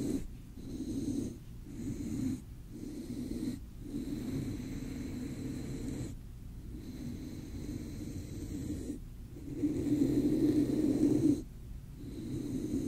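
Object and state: Nothing is struck.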